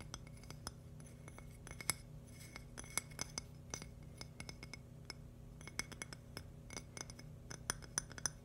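A thin, palm-sized polished purple agate slice with a crystal centre, solid, is tapped and scratched with fingernails. Quick, bright glassy clicks and clinks come in an uneven stream with very short ring, separated by soft scratching. A steady low hum runs underneath throughout.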